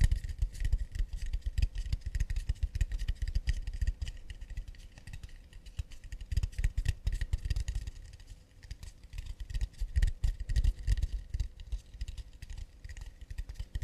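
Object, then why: Acacia wood plate. Fast, delicate tapping on an acacia wood plate, a dense run of short, dry knocks with a low thud at their base and a faint bright click on top. Each tap dies away almost instantly, and the pace swells and eases without a pause.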